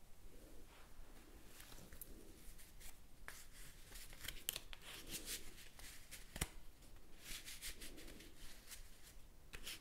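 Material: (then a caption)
Paper. A small deck of thin paper playing cards is handled and shuffled close to the microphone by fingers with blue-painted nails. Soft, bright papery rustling is broken by quick, crisp flicks and snaps as the cards slide and riffle together.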